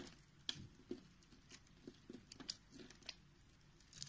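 A utility knife blade with a green handle scrapes the surface of a solid, round, orange and white bar of soap held in the palm, and crumbly powder falls off. The clip is quiet, with a series of short, bright, crisp scraping crunches and faint crumbling between them.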